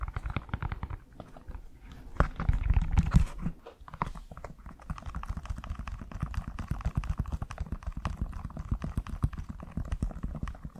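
Fingertips tap and rub along the side and heel of a hollow, empty black leather high-heel shoe, a stiletto pump with a glossy leather-like upper, held close to the mic. Rapid, irregular soft taps land as dull, low thumps with no ring. A louder, denser stretch of rubbing swells briefly near the start before the quick tapping continues.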